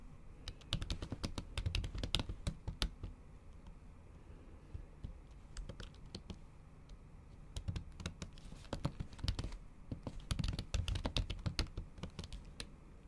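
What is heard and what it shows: Long acrylic nails type on a MacBook keyboard covered by a thin pink plastic or silicone keyboard cover. Quick, uneven bursts of soft clicky taps with dull low thumps come in two flurries, separated by a quieter stretch of light, scattered tapping.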